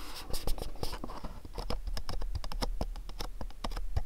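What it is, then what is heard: Cardboard box, tapped and scratched. Fingernails tap and scratch the sides of a small, dark, printed cardboard candle box held between the hands. Rapid, dry, crisp clicks and scratchy rustles follow one another closely over a low, steady rumble. Each tap stops dead with no ring.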